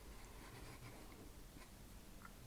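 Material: Nothing is struck.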